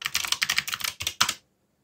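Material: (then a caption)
Plastic. Fingertips type quickly on a backlit mechanical keyboard with dark plastic keycaps, producing a rapid run of bright, crisp clicks and clacks. A short pause breaks the run before a final few keystrokes, then the sound stops cleanly into silence.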